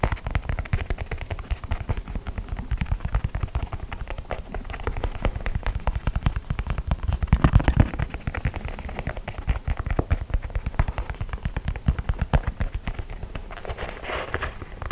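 A hollow, empty white low-top leather sneaker in the Air Force 1 style is held up in the hands while fingertips and nails tap and scratch its leather upper. A dense stream of quick, dry, low thumping taps and scratchy rustles continues throughout, with brief brighter scratching bursts.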